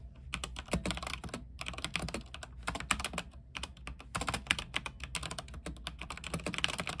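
Fingertips type at a moderate pace on a backlit mechanical keyboard with white plastic keycaps on an aluminium frame. Dense runs of short, bright clacks with a low thock underneath are broken by brief pauses, over a steady low hum.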